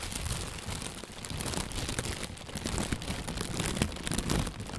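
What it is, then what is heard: Plastic bag. An inflated, hollow white plastic bag, held from below, is squeezed and rustled with the hands. It gives a steady, dense crinkling rustle with a heavy low rumble beneath bright crackles. Short louder crunches surge now and then without ever fully stopping.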